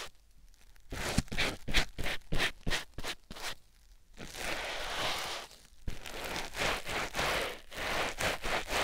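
A white rectangular foam sponge block, held in the fingertips, is rubbed and scratched against a silicone ear microphone. A quick series of short, scratchy, rustling strokes gives way to a longer continuous rub, then more rhythmic brushing strokes, all close and bright with a soft low rumble underneath.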